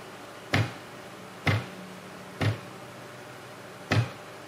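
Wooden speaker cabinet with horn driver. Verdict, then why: Loose. A speaker cabinet is tapped against the floor four times, each impact giving a low thump around 105 Hz with a brief rattle above it. The rattle indicates a loose horn, so the front cover needs to come off and everything tightened.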